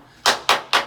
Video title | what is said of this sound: IMG 5658 | you can hear that's blown, that's blown, that's blown